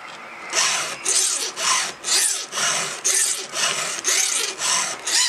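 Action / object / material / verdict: scrape / steel chainsaw chain and round file / steel / none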